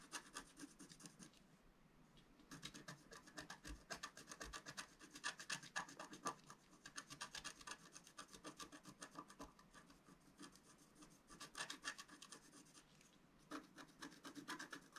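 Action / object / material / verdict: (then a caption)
scrape / wax-coated scratch-art paper scratched with a wooden stylus / wax-coated paper / none. A pointed wooden stylus scratches the coating of a thin black wax-coated scratch-art paper sheet lying flat on a table. Rapid, dry, rasping strokes come in busy bursts with a bright edge, easing into quieter, lighter scratching for a few stretches before picking up again.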